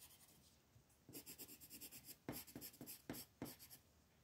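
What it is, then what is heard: Paper coloring page. A wooden brown colored pencil is rubbed in short strokes across a flat paper coloring page on a table, filling in small areas. After a second of faint scratching, a quick, uneven run of scratchy strokes follows, each a brief bright rasp, with a few sharper, louder ones near the end.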